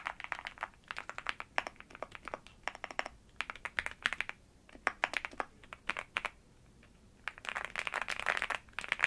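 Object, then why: Mechanical keyboard with plastic keycaps. A black mechanical keyboard with dark plastic keycaps rests on a bedsheet with a wrist rest in front, typed on with fingertips and long nails. Bursts of crisp, bright clicky keystrokes are separated by short pauses, with each tap dying away almost instantly. The typing ends in a dense, fast flurry.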